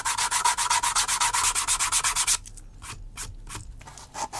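The metal tip of a wooden-handled awl scratches and scores a flat, thin panel of natural vegetable-tanned leather lying on a cutting mat. About four quick, bright, even scratching strokes per second run for just over two seconds, then give way to quieter, sparser scrapes.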